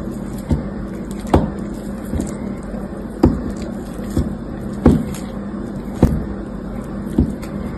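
A utility knife with an orange handle cuts and snaps pieces of grey dried crust off a solid blue soap bar held in the fingers. Short, crisp cracks and snaps come every second or so, each dying away almost at once. Behind them runs a steady low hum.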